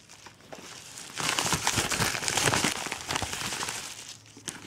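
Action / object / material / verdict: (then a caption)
scrape / kraft paper padded mailer envelope / kraft paper / none. A yellow kraft paper padded mailer with a BM3 barcode label, holding an essential oils order, is crumpled and scratched with both hands. After a quiet start, dense, bright crinkling and scratching swells in at about 1.2 seconds and continues loudly for around three seconds. It then drops back to faint rustling, with one last crackle near the end.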